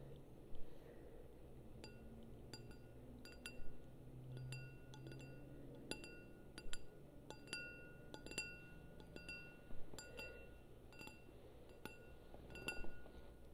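A small, empty, clear glass wine glass with a green stem is held in one hand and tapped on the bowl with long painted nails. The taps give bright, short glassy clinks with high ringing tones, repeated at an uneven pace over a quiet low background hum.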